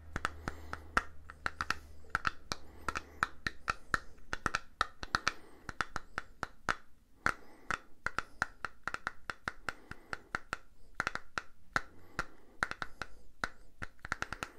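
Fingernails tap and scratch a small purple silicone facial cleansing brush pad held low between both hands. The result is a rapid, irregular run of sharp, short clicky taps with a faint tone near 1.3 kHz, separated by soft scratching over a low steady hum.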